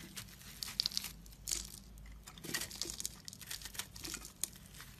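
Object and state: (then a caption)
Dried-out bar of soap shaved with a blade. A metal utility blade shaves flaky crumbs off a large, porous, dried-out pink-and-white soap block held in the hand. The result is a quiet, dense run of bright, crunchy scraping and crinkling bursts that stop short with no ring.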